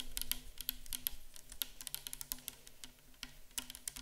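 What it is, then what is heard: Plastic micellar water bottle. A tall, clear plastic bottle full of micellar water stands upright and is tapped and scratched with long acrylic nails. Quick, dry, bright clicks come in an irregular, rapid stream, each dying away almost instantly, like fast typing. A faint steady low hum sits underneath the quiet tapping.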